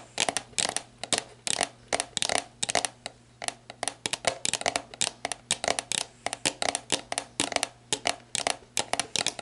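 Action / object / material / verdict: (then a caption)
tap / plastic drink bottle / plastic / none. Long black nails tap the bare plastic shoulder near the neck of a clear, hollow, mostly empty plastic sports drink bottle lying on its side. About forty quick, bright, clicky taps come in uneven bursts, each with a short hollow mid-pitched ring that dies almost at once. A faint steady low hum runs underneath.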